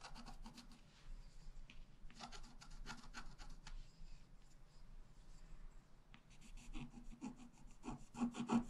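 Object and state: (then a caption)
Scratch-art card being scratched. A wooden stylus scratches the left flowers into a flat black-coated scratch-art card, making quiet, dry, rasping strokes in quick, irregular bursts. Bright, brief scrapes cluster at the start, thin out in the middle, then return denser and louder toward the end.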